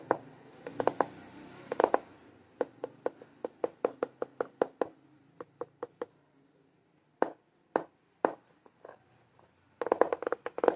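Fingertips and short nails repeatedly tap on the clear plastic lens of a hand-sized, mounted scooter instrument cluster, a speedometer dial with an LCD panel set in a grey plastic housing that is hollow behind the lens. The result is a series of short, dry, clicky taps, some in quick bursts and others spaced apart with brief pauses, and each tap dies away almost at once.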